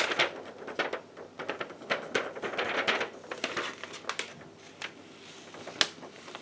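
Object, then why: Sheet of paper. A yellow paper sheet with a white back is rubbed and bent by hands in black lace gloves. It makes a steady run of dry, bright crinkles and crackles with almost no low end, close and quiet, with a sharper snap near the end.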